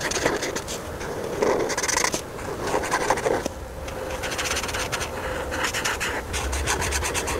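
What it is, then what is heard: Marker scratching on a paper sheet. The felt tip of a white marker, held by a hand with long painted nails, rubs and scratches across a thin paper coloring page with a handbag outline while filling in the ruffles. Quick, bright, raspy strokes scrape back and forth almost continuously, with brief lighter pauses between bursts.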